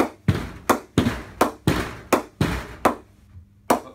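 A leather cricket ball is bounced on the flat face of a full-size solid willow Gray Nicolls Predator 3 Halestorm cricket bat, held blade-up at waist height. Nine sharp, woody knocks sound at an uneven pace, with a longer pause before the last. Each knock has a low-mid thud around 258 Hz and fades quickly.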